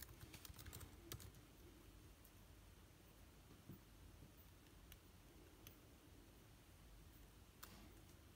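Fingertips type on the plastic keycaps of an aluminium laptop keyboard, producing quiet, crisp key clicks. A quick flurry of taps at the start gives way to sparser, isolated keystrokes over a soft, low background rumble.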